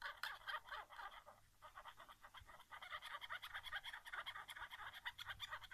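Fingertips and nails tap the back casing and grip of a white plastic PS4 controller lying face down on carpet, its hollow shell answering each touch. A quick, uneven run of light, dry clicks sits mostly in the upper midrange with bright edges and almost no low end, and each tap dies away almost instantly. The tapping thins briefly around the middle before picking back up, steady and soft.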